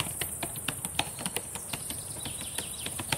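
Long painted nails and fingertips type on the plastic keys of a black laptop keyboard, making about sixteen quick, sharp clicks and taps over three seconds. Each tap is short and bright with little ring, over a steady, faint high hiss.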